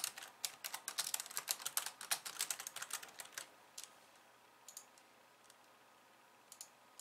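Long painted nails type quickly on a pink low-profile plastic keyboard with white keys resting on a wooden desk, producing a dense run of sharp, bright clicking keystrokes. After about three and a half seconds the typing thins out to a few scattered, softer taps with quiet gaps between them.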